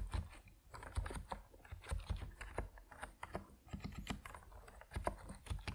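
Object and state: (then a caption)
Mechanical keyboard with PBT plastic keycaps. Both hands type quickly on an Epomaker NiZ Plum Atom 68, a 68-key compact mechanical keyboard with white and purple PBT plastic keycaps, resting on a wooden desk. Short, dry keystrokes follow each other in uneven bursts, with a deep, muted low-end thock and little brightness.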